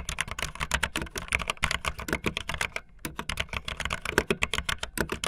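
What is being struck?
Plastic mechanical keyboard keys.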